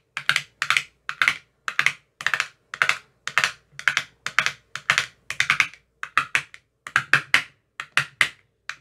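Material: Plastic.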